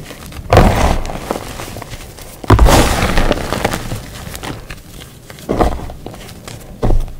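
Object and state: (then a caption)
Gym chalk powder pile. Bare fingertips and palms press, squeeze and rub through a large heap of loose, pale green crushed gym chalk powder on a dark tray. Four soft, muffled crunching swells stand out, each heavy in low rumble with a faint gritty hiss that fades slowly. Quieter rustling continues between them.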